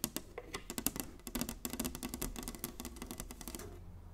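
Long nails tap rapidly on the surface of a large, flat, inlaid wooden chessboard. The result is a quick, uneven run of short, dry clicks, each with a bright top and a soft hollow knock in the low mids. The taps die away almost instantly.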